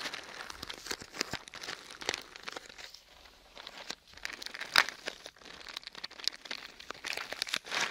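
A small, closed red cardboard box with a slightly glossy surface, probably hollow and empty, is held in one hand and tapped and scratched with fingertips and nails close to the microphone. The result is a dense run of quick, dry taps and crinkly scratching, bright and thin with almost no low end or ring, easing briefly around three seconds before a sharp, loud tap near the middle.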